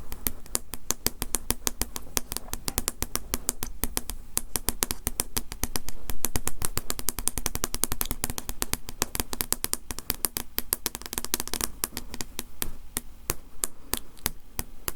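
Fingers or nails tap repeatedly on the glass of a framed picture given by a consortium member, producing a rapid, irregular stream of short, bright clicks. The taps swell slightly in intensity around the middle, and a steady low hum sits underneath throughout.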